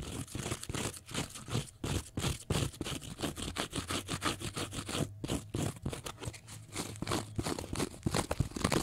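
A small block of pale green porous cellulose sponge is scratched with fingernails and bent slightly, giving a rapid, uneven run of dry, crunchy scraping strokes. The bursts reach from a low thump up to bright, airy scratching and repeat irregularly throughout.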